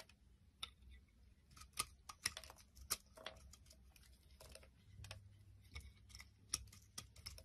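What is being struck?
Bar soap scraped with a blade.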